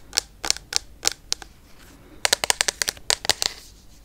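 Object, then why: Plastic foam pump bottle. A clear plastic foam pump bottle filled with pink liquid, held sideways, is tapped rapidly with long yellow nails. Fifteen short, bright plastic clicks come in a slow first run, then a quicker burst after a pause, each dying almost instantly with very little low end.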